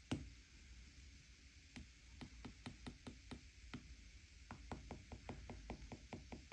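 A plastic stylus tip taps on the solid glass touchscreen of a flat iPad tablet, filling in areas while the other hand holds the bezel. A quiet, steady run of short, dry taps with a low thud and a bright click fades almost at once, over a constant low hum and hiss, and the taps come faster near the end.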